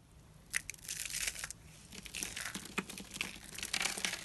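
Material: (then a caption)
Soap. Small rolled coils of thin, dry white soap shavings, hollow in the center, are squeezed and crushed in both fists by fingertips with short nails. The result is a dense run of bright, crisp crunching and crinkling, with a few sharper snaps standing out. The rolls break down into loose white flakes.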